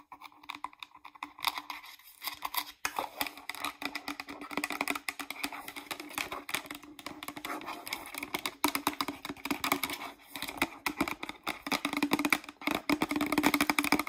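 Long nails tap rapidly on the side and back label of a hollow green plastic shampoo bottle, producing a dense stream of short, bright clicks that fade almost instantly. A faint steady hum around 300 Hz runs underneath, and the tapping grows louder and busier toward the end.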